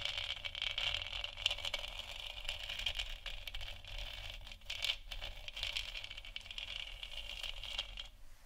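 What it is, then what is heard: Plastic moon lamp scratched and tapped with nails. Long nails tap and scratch across the top and sides of a large, hollow, textured plastic moon lamp sphere lit white. The result is a dense, steady stream of quick, dry clicks and scrapes with almost no ring, dominated by a bright band around 2.8 kHz over a faint low rumble.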